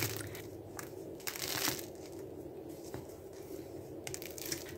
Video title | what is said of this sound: Dinkel-Misch-Brot mit Übernachtgare, ich kaufe kein Brot mehr! (Anfänger geeignet!) #126 | колко невероятно хрупкав се оказа отново